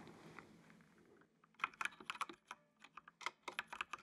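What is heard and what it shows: Fingertips type on a full-size black plastic mechanical computer keyboard with RGB backlight. After about a second and a half of faint hiss, a quick, uneven run of sharp, bright plastic clicks follows, each dying out almost instantly.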